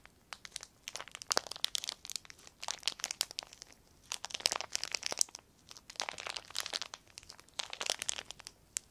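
A small clear plastic sheet is crumpled and crinkled between both hands. Bursts of sharp, bright crackles come in waves with short quiet gaps between them, with no low end and no ring after each snap.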